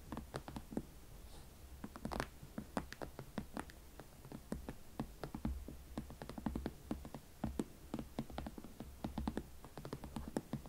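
Long nails tap and scratch a single hollow, empty hot pink leather Valentino Club Platform Chelsea ankle boot, held in both hands, working over the leather shaft and the elastic side panel. The result is a quiet, steady stream of short, dry clicks and soft scrapes, each dying away almost at once, over a faint low rumble.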